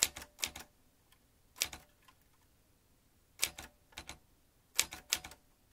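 Fingertips tap the keys of a vintage metal manual typewriter, giving fourteen sharp, bright clacks. The clacks come in quick pairs and short bursts separated by pauses. Each strike cuts off almost instantly.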